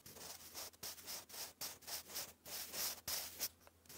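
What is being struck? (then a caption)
Graphite pencil on thick lined paper card. A sharpened wooden graphite pencil writes English cursive across a thick sheet of grey lined cardstock lying flat. About eleven quick, bright, scratchy strokes come in uneven bursts, each a dry, high hiss with almost no low end and short pauses between.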